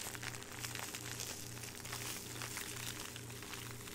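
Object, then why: Thin plastic bag. A thin clear plastic bag with a small jewelry item inside is held in both hands and crumpled and crinkled by fingertips throughout. Dense, bright crackling rustles run continuously over a steady low hum that pulses gently in the background.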